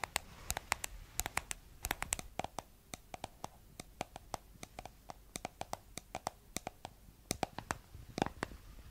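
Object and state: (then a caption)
Plastic jar tapped with nails. Long nails tap and scratch the flat white plastic lid and blue sides of a round, hollow, palm-size cosmetic jar. Dozens of sharp, dry clicks with bright highs and a hollow knock near 950 Hz cut off almost instantly, with a faint scratchy rustle running between them.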